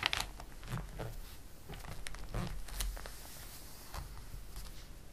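Fingertips rub across the printed page of a glossy paper catalog with soft, dry swishing and crinkling, then the page is turned with a brief papery flutter. The sound is quiet and close, with light, bright rustles over a low rumble.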